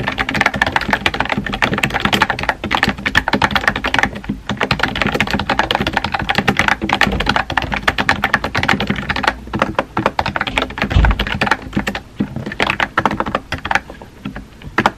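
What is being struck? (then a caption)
Plastic mechanical keyboard. Fingertips with painted nails type rapidly on a compact, hollow-bodied pink plastic mechanical keyboard with round white-and-pink typewriter-style keycaps, resting on a desk. Dense streams of short, crisp, clacky key taps run almost continuously with a few brief pauses, each click dying away almost instantly with a bright, hollow plastic tone.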